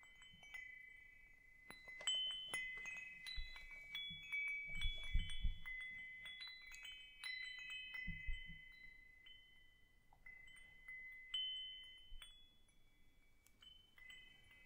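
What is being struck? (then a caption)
Hanging wind chime with metal tubes and wooden clapper. A hanging wind chime with hollow metal tubes, a wooden top bar and a wooden clapper is held up by its string and shaken or swung close by, so the tubes clink together. Bright metallic strikes layer into sustained, overlapping ringing tones, mixed with low handling thumps. The clinking swells and fades unevenly, leaving the tones ringing under softer taps.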